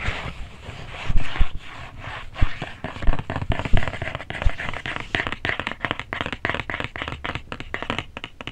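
Fingertips and nails tap and scratch the top of a flat, hollow, printed cardboard cookie box lying on a desk, with an earphone mic held close. The result is a rapid, uneven run of dull, low, hollow thumps mixed with dry, crackly scratching, each hit dying away almost at once.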